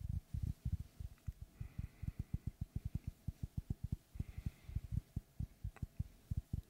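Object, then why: Wooden log slice. Fingertips tap and knock on the wooden face of a large, round, solid log slice with a bark rim, held in both hands. About 24 quick, soft, dull thuds come in a steady rhythm, deep and low with almost no ring.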